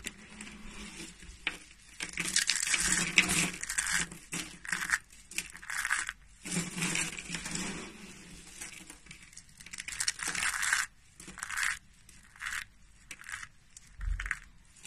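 Bare hands squeeze and crush a double handful of thin, curled brown shavings of dry soap, and the flakes break and fall onto a white surface. The crushing makes dry, bright crinkling and crunching in repeated bursts, some louder and longer than others, with short quiet gaps between.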